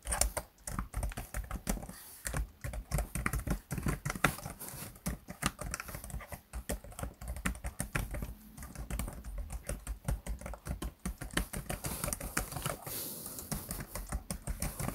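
Fingertips of both hands type quickly on the keys of a black plastic laptop keyboard. A dense, uneven stream of short, dry clicks and soft thuds carries mostly low, muted weight and stops almost instantly after each keystroke.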